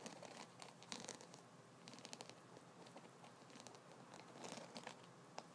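Fingertips and nails scratch repeatedly over the rows of wooden nubs on a solid wooden double-sided massage brush. The result is a quiet, dry, crinkly scratching with bright clicks that die away almost at once.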